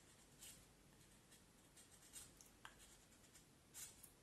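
A small knife blade shaves and scrapes the end of a solid, peeled vine wood branch about forearm length, held in one hand, in short carving strokes as shavings pile up on the table. The quiet, bright, dry scraping comes in brief rasping bursts over a low, steady background hiss, with one sharp tick near the middle.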